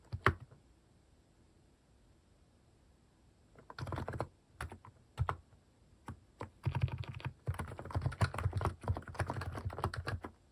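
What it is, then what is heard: Mechanical keyboard typing. A compact mechanical keyboard with cute cat-shaped plastic keycaps on a white case is typed on steadily by fingertips. Short, dull clacks carry a low thump, with a single keystroke and a long pause at the start before bursts of fast typing. The bursts grow into a dense, continuous patter toward the end.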